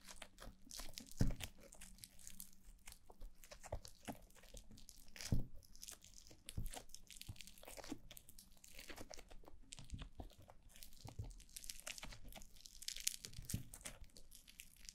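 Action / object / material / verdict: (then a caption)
scrape / foam bead slime / slime, foam beads / none. Clumps of soft, pliable white foam-bead slime (floam), held in both hands with long blue nails, are pressed and squished against a glossy black mannequin-head microphone. The result is a dense, irregular stream of close crunching, crackling and sticky tearing sounds over low, muffled thumps. Sharper, louder bursts stand out near 1 and 5 seconds.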